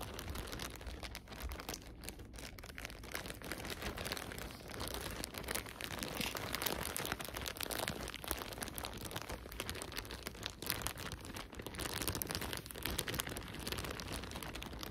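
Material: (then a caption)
Plastic. A thin clear plastic bag full of cotton balls is squeezed and rubbed with nitrile-gloved fingers, giving a steady, dense crinkling. The soft rustle and crackle run continuously across the whole clip with a low rumble underneath and bright hiss on top, with no clear pauses between sounds.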